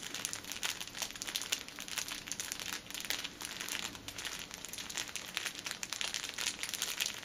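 Long nails scratch and tap the top edge of an upright six-pack of pocket tissues wrapped in clear plastic film. The result is a steady stream of bright, dry crinkling with quick crisp ticks and almost no low end.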